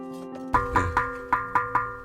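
A bisque-fired ceramic bowl, just taken from the kiln after the bisque firing, is tapped six times. Each tap gives a clear, bright ring near 1.2 kHz that sustains between taps, meaning the bowl is uncracked.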